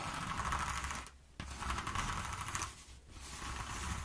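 Long nails scratch and tap across the ridges of a flat sheet of exposed, ribbed corrugated cardboard resting on a wooden table. The result is dense, rapid, rasping scratches in three bursts separated by short quieter pauses, with a hiss-like band around 1.1 kHz over a low rumble.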